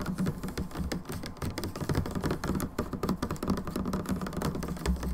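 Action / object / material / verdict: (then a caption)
tap / plastic hand soap bottle / plastic / none. Long nails on both hands tap rapidly and continuously on the narrow side of a plastic hand soap bottle. The result is a dense, fast clatter of short, dry, hollow clicks with a low, thumpy body and almost no ring.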